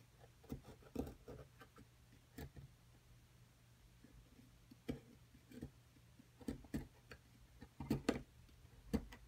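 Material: Plaster.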